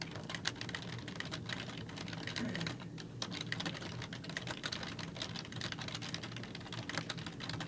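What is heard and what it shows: Fingertips with long nails type steadily on a black plastic computer keyboard with hollow keys. A rapid, continuous stream of short, bright clicks and clacks sits over a low, steady background rumble for the whole clip.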